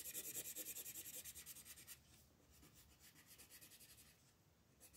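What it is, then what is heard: Colored pencil rubbing on a paper coloring page. An orange colored pencil is rubbed in broad, fast strokes across a flat paper coloring book page to fill in a moon. It makes a rapid, fairly regular, bright scratchy rasp of about three strokes per second, louder for the first two seconds and then softer.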